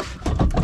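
The raised rear wheel of an Integra is shaken by hand, and it gives a few low, dull knocks with a brief rattle because it is loose in all directions. The worn steel rear wheel bearing is confirmed: out of round and rubbing, with its balls falling out once removed.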